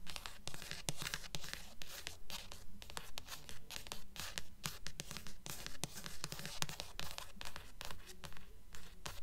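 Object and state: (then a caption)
Paperback book with card cover. Long nails tap and scratch on the glossy card cover of a thick blue paperback book held upright, and along its edge near the spine. Quick, fairly steady bursts of bright, papery scratching alternate with soft, dull taps, each fading almost at once, at a close, quiet level.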